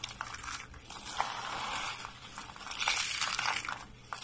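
White dry soap shavings and flakes are gathered and crushed between both hands and fingertips, crumbling apart. A dense, bright crunching and crackling runs throughout, with sharp crisp snaps popping out now and then and little low-end weight. It swells to a fuller, louder crunch toward the second half before easing off.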